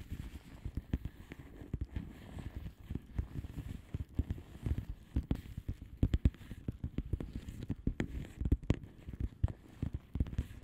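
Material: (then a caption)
Plastic. Long manicured nails of both hands tap and scratch a flat blue plastic bubble wrap mailer envelope with air-filled bubbles. Dozens of quick, soft, muffled taps, all low and dull with no ring, come in irregular bursts over a faint scratchy rustle.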